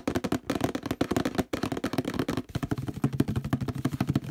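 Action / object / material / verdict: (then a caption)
scrape / plastic detergent bottle / plastic / none. Fingertips scratch and rub fast near the handle of a hollow orange plastic detergent bottle with a textured surface. The result is a dense run of quick, dry scratching bursts with a hollow, low-mid plastic resonance. The bursts pause briefly a few times before continuing.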